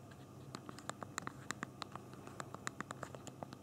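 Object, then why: Plastic phone keyboard keys. Thumbs type on the small plastic keys of a handheld BlackBerry phone's physical keyboard, producing a quick, uneven run of about two dozen short, crisp clicks. Each click is dry and bright with almost no ring, over a faint low background hum.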